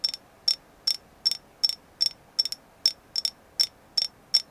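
Light tapping on a carved agate moon goddess figure produces a steady series of short, bright clicks, some in quick pairs. Each tap has a high tone and dies away almost instantly, with nothing in the low range.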